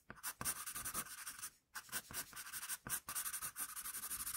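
A hand-held wooden HB pencil scratches short shading strokes with its graphite tip near the shoulder of a finished pencil portrait on a flat sheet of drawing paper. Quiet, bright, dry scratching comes in a rapid run of short strokes, with a brief pause partway through before the strokes resume.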